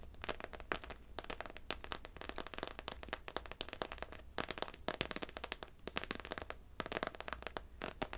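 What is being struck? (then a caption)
Hollow plastic dome helmet on a plush toy. Long nails tap and scratch on the clear, hollow plastic dome helmet of a pink plush bear in a space suit. A dense stream of sharp, bright clicks and scratchy crackles runs steadily throughout, each tick dying away almost instantly, over a faint low hum.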